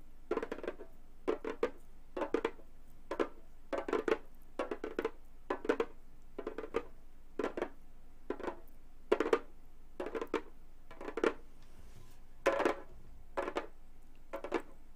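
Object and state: Synthetic-head frame drum tapped with metal finger claws.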